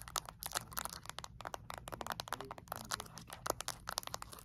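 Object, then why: Small plastic remote control with rubber buttons. Long acrylic nails quickly tap and scratch the rubber buttons and casing of a small, flat plastic LED remote control held in both hands. A fast, uneven stream of sharp, bright clicks and scratchy, crinkly taps comes over a faint low hum. Each tap cuts off almost instantly.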